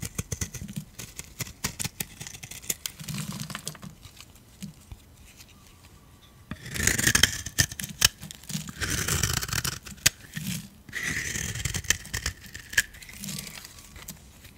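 A metal utility blade scrapes crunchy flakes off a solid, dark, dry soap bar with a blue edge, held in the hand. Sparse dry clicks and crackles give way, after about six seconds, to louder, sustained bright scraping bursts with a gritty crunch. The sound stops dead with no ring after each stroke.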